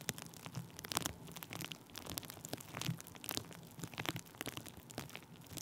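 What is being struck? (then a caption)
Plastic bubble wrap rubbed with a wooden stick. Thin clear plastic bubble wrap stretched over a microphone is pressed and rubbed with a wooden stick. The result is a steady stream of crinkling, crackling rustle with sharp, bright clicks over a soft low rumble. The sound stays quiet and close throughout.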